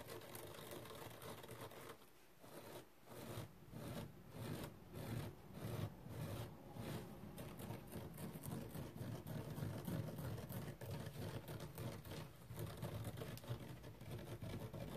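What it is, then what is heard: Nylon scouring pad being scratched. Fingernails scratch the fibrous surface of a thin, flat, dark purple nonwoven nylon abrasive scouring pad lying on a towel. The result is a soft, dry, rasping scratch in repeated strokes, with most of the sound in a low, muffled rumble and little high-end brightness. There is a brief quieter pause near the two-second mark before the scratching resumes and continues steadily.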